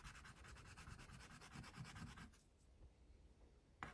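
A wax crayon held in the fingertips rubs back and forth across a paper coloring sheet printed with a baby tiger, lying flat on a clipboard, while the other hand with long pink nails rests on the sheet. Quick, rhythmic, dry scratchy strokes with a low papery rasp fill the first two seconds, then fade to soft, quiet rubbing. A brief bright tap sounds near the end.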